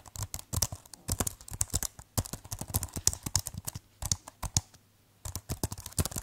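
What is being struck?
Plastic keyboard case and keys.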